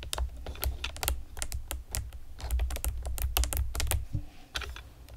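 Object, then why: Plastic computer keyboard with round keycaps. Long painted nails and fingertips tap rapidly on a pastel plastic typewriter-style computer keyboard with round retro keycaps and hollow keys. The result is a quick stream of short, bright, hollow clicks and clacks that stop almost instantly, over a steady low hum.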